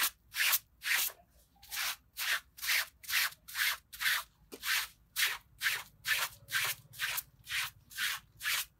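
A gloved hand scrubs a small red patterned pile rug, wet with foam and lying on a concrete floor, using a green plastic bristle brush. The clip has 17 brisk, fairly steady strokes, each a bright, hissy scratching rub with a slightly wet texture. The strokes stop short with almost no ring between them.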